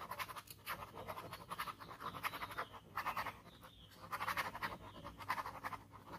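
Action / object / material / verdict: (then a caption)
scrape / ballpoint pen on paper sheet / paper / none. A ballpoint pen tip scratches repeated short strokes near the edge of a flat white paper sheet bearing a scribbled ink skull. A steady run of dry, raspy scratches rises and falls in bursts, centered in the mid range with a bright hiss on top.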